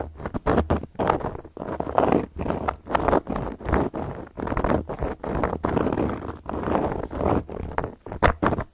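A round, flat, solid cork coaster is tapped and worked with long gold metal claw nails. It gives a steady run of dry, muffled scratchy bursts, mostly midrange with little brightness, each stopping quickly between short silent gaps.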